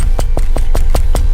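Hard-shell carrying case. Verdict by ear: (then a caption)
Solid. Knuckles knock repeatedly on the hard shell of an In-Demand Design S-Charge carrying case for the Nintendo Switch, which has a built-in battery. Short, evenly spaced, dull knocks sound over a steady low rumble. The knocks show the case is solid.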